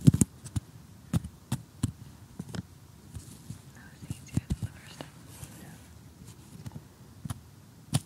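Assembled cardboard jigsaw puzzle pieces lying flat are tapped with a short fingernail and metal tweezers, giving quiet, dry, low taps with a faint crunchy texture. The hits are sharp and short, spread irregularly over the clip.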